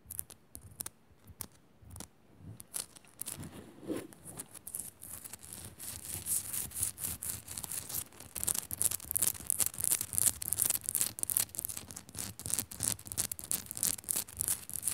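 Long nails scratch rapidly up and down a solid pink Himalayan salt crystal lamp with a powdery white surface. The result is a fast, bright, gritty rasp of short scraping strokes, sparse and quiet at first, then growing denser and louder into a steady run of scratching.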